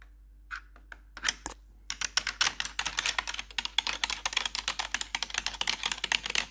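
Metal claw nails tap and click the keys of a black plastic RGB backlit computer keyboard. A few sparse, bright clicks in the first two seconds build into a dense, rapid run of sharp, dry taps with almost no ring.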